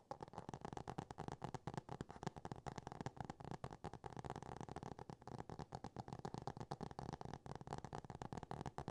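Fingernails from both hands rapidly tap and scratch the solid, laminated cardboard cover of a hardcover book. The result is a quiet, dense stream of short, dry clicks and scrapes with a low-to-mid body and almost no ring.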